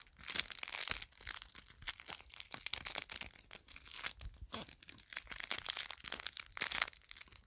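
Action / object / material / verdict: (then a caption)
scrape / thin plastic film wrapping / plastic film / none. Thin, clear plastic film wrapping from iPad Air 4 accessories, hollow and loose, is crumpled and crinkled between the fingertips. The result is dense, bright, crackling rustles in uneven bursts, with almost no low end and very short snaps that die away instantly.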